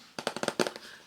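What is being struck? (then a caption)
Glass cover of a small jewelry box. A quick series of light, dry taps on the glass cover of a small 24-slot jewelry box, checking what the cover is made of. The clicks are short and bright, with almost no ring, and sound like plastic even though the cover is actually glass.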